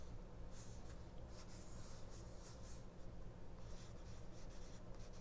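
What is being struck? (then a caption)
Small paper booklet. Fingers and nails rub and scratch the paper pages of a small open 1999 paperback mini-book resting on a cloth. Soft, continuous scratching comes in bright, brushy bursts over a steady low hum, and the level stays quiet and even throughout.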